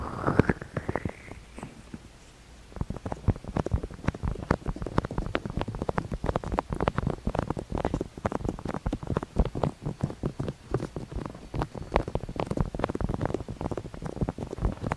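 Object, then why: Plastic microphone housing. Fingertips of both hands tap and rub the top and sides of a white, hollow, hand-sized rectangular plastic SR3D binaural microphone housing held in the hands. A brief rising, whistle-like tone opens the clip, followed by a short lull. Then comes a dense, continuous stream of quick, dull, low, close-up thumps and scratchy rubs that die away almost instantly.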